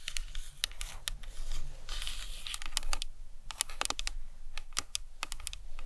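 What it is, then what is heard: Plastic anatomical skull model. Long nails tap a hollow plastic anatomical skull model resting on a towel, mostly on the cranium and briefly on the face area. The taps are quick, dry, bright clicks with almost no ring. A soft, scratchy rustle fills the middle of the clip over a low background rumble.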